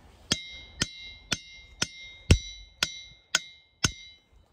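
A glacial boulder is struck with a hammer eight times at a steady pace, about two strikes per second. Each strike gives a sharp metallic clink with bell-like ringing overtones around 2 kHz that hang briefly between blows.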